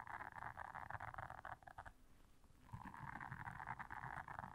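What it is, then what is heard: Silicone scrubber pad. Long nails scratch the bristles of a blue silicone scrubber pad, making a dense, rapid scratchy rasp centered in the midrange. The scratching fades to near quiet for about a second midway, then resumes at full intensity.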